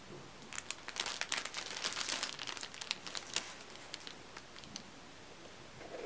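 Fingertips grip, bend and crinkle a thin, clear, crinkly plastic cellophane sleeve holding a red-and-black striped neck tie, with a second packaged tie lying untouched nearby. Dense, bright, irregular crackling bursts build quickly, are loudest in the first half, then thin out into softer scattered crinkles before a faint rustle at the end.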